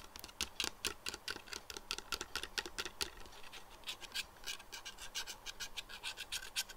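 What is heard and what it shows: Fingernails scratch and tap the black perforated lenses of plastic pinhole glasses resting on a desk. The result is a quick, irregular run of crisp, bright scratching clicks, each dying away almost instantly.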